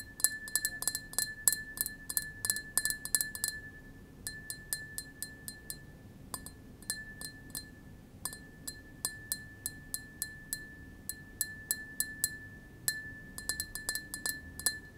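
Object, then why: Small double-walled glass tumbler. A small, clear, double-walled drinking glass, hollow and empty, is held in the palm and tapped with long fingernails and fingertips. It makes quick, irregular, bright clinks, with a faint steady tone near 1.7 kHz ringing underneath. The taps come in clusters with short pauses, and each clink dies away almost at once.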